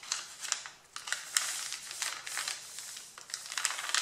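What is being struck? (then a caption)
Stack of printed paper sheets. Both hands rub and crumple the top sheet of a flat, solid stack of thin white A4 printed paper with fingertips and nails. The result is bright, dry crinkling and rustling with sharp crackly bursts, almost no low end, and quick fades between gestures.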